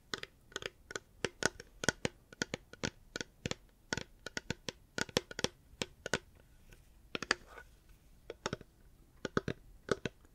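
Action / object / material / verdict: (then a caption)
tap / hard plastic water bottle / hard plastic / none. Fingers tap a reusable hard plastic water bottle in quick, uneven bursts. Each tap is a sharp, dry click with almost no ring, centered in the mid range around 1.5 kHz and carrying some bright edge. Short pauses fall between the clusters.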